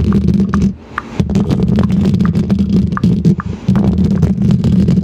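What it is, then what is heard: Metal microphone grille being scratched and tapped. Long pointed green plastic fake nails on both hands scratch and tap the hollow metal mesh grille of a large silver condenser microphone. The result is a dense, boomy low rumble of rapid scraping and soft clicking taps, with brief dips in the texture.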